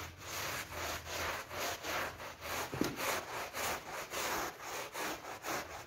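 A wet pink PVC coil door mat covered in foam is brushed vigorously with a hand brush held in a rubber-gloved hand. Steady back-and-forth strokes make a rhythmic, rough scrubbing hiss that is bright and airy, with one brief sharp click partway through.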